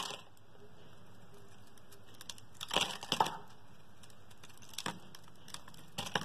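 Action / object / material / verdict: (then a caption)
scrape / bar of soap shaved with a metal blade / soap / none. A metal blade shaves thin curls off the top of a solid blue, palm-sized, Fa-branded oval bar of soap held in the hand. Over a low, steady hiss, short bursts of crisp, crackling scraping rise in the middle, followed by a few sharp, bright ticks near the end.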